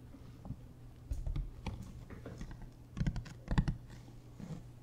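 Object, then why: Hard-shell plastic suitcase. A large, hollow, beige hard-shell plastic suitcase, held upright, is tapped and scratched along its edge with fingertips and nails. Soft, dull taps and brief scratchy clicks sit over a steady low hum, with a few louder clustered taps near the end. Each sound dies away almost instantly.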